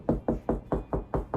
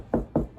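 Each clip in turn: First: solid drywall over a stud. Second: hollow drywall between studs.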